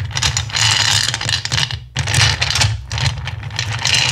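Both hands with long nails scratch and rake through a pile of small, solid, clear acrylic gems in a black bowl. The result is a dense, bright clicking and rattling over a steady low hum, with a brief lull just before the two-second mark before the raking picks up again.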